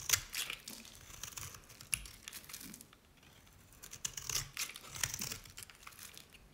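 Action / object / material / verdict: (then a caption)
scrape / bar of soap shaved with a blade / soap / none. A utility knife blade shaves layered curls off the bottom edge of a dry, cream-colored solid bar of Nevskaya Cosmetics soap. It makes dry, bright, crackly scraping and crinkling with sharp little snaps, pausing briefly near the middle before another run of shaving.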